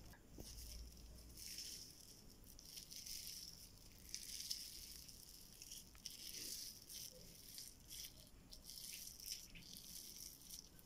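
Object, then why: Slime with foam beads. Pink slime packed with white foam beads lies flat on a table, then is picked up while fingers and a hand squeeze and press the soft mass. It makes a steady, bright crunchy crackling of the beads, with low, soft handling underneath.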